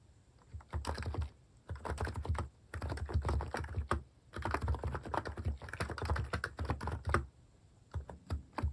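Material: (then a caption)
Plastic. A plastic mechanical keyboard with cat keycaps is typed on steadily by fingertips. Bursts of quick key clicks with a low thock alternate with brief pauses.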